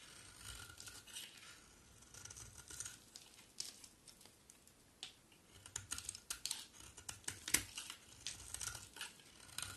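A solid bar of green soap is held in the hand and carved into flakes with a utility knife blade. The sound is a quiet run of bright, crisp scraping and flicking cuts. The cuts come in uneven bursts, with a few sharper snaps standing out.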